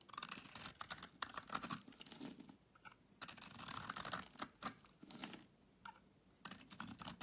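A solid Lux bar soap with a pink inside is held in the hand and scraped with a utility knife blade. Dense, bright, crisp scraping and shaving comes in several long bursts separated by short quiet pauses.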